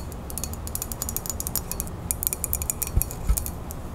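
A ceramic coffee mug with a printed animal picture is held close and its body tapped with long fingernails. Fast, uneven bright clicks patter over a steady low rumble, with a couple of heavier, deeper taps near the end.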